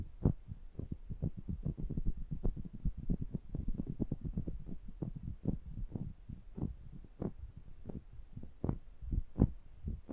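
Two small metal microphone capsules are gripped in the hands while the thumb pads rub and tap their mesh grilles. The result is a rapid, uneven run of soft, muffled low thumps over a dull rubbing rumble, each tap short and dry like a throbbing heartbeat.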